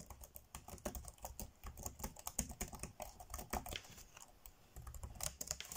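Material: Plastic.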